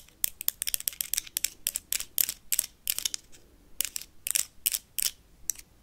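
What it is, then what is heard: Plastic toy lightsaber. Paperclips rapidly tap and scratch a blue plastic toy lightsaber, making about two dozen quick, dry clicks and scrapes in irregular bursts. The sound is almost entirely bright and high, with very little low end, and each hit dies away almost instantly.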